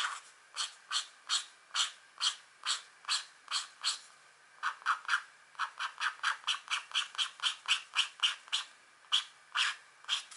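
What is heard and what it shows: The pointed tip of a green stylus scratches a thin, flat scratch art sheet (black coating over a metallic layer) with a deer drawing on it, held by a long-nailed hand. About 29 short, dry, bright scraping strokes follow one another at an uneven rhythm, with a brief pause near the middle and quicker strokes afterward. Each stroke stops almost instantly, with no low rumble.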